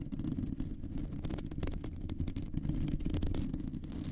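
Long nails scratch and grip the round, hollow metal mesh grille of a microphone. The result is a steady, dense, low rumbling scrape with a husky, deep texture. Quick bright crackles flicker over it throughout.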